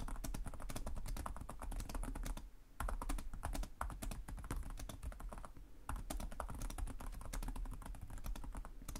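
Fingertips with short nails type rapidly with both hands on the plastic chiclet keys of a black laptop resting on a desk. The result is a dense stream of quick, sharp clicks over a steady low hum. The typing pauses briefly around 2.5 seconds and again near 5.8 seconds.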